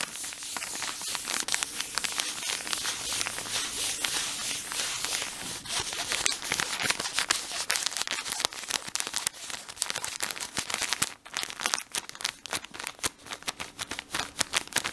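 Fingertips and short nails scratch and crinkle the printed surface of a full blue plastic-film cotton-pad pack at close range. A dense, bright, crackling crinkle runs almost continuously with little low end. After a brief dip near the eleventh second, it breaks into sharper, more separated snaps.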